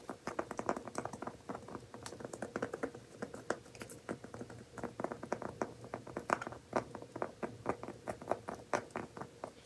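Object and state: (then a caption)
Woven seagrass coaster. A round, coiled woven seagrass coaster is held in both hands while fingertips and nails scratch and tap its woven surface. The result is a quick, irregular patter of dry, crisp clicks and scratchy taps that stop instantly with no ring, all at a quiet level.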